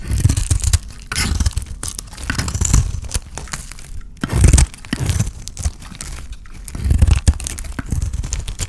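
A utility knife blade shaves and scrapes a dry, solid, cream-colored rectangular soap bar painted blue, held in the hand. Repeated dry, crunchy scraping strokes come in uneven bursts, with a heavy low thump under each cut and a brief crisp rasp that dies quickly.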